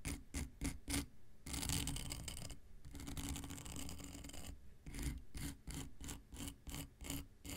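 A long, flat, dark grey emery nail file with a solid abrasive surface is scratched with an X-Acto knife blade. A few quick rasping strokes lead into two long continuous scrapes, then a run of short, rhythmic scratches. Each stroke is a gritty, bright rasp over a low rumble.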